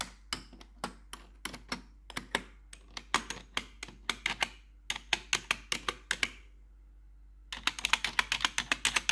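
Long pointed metal nail tips worn over blue gloves tap the keycaps of a black plastic RGB backlit computer keyboard. Bright, sharp clicks come in an uneven typing rhythm with almost no ring, then stop for about a second before a faster, denser burst of taps.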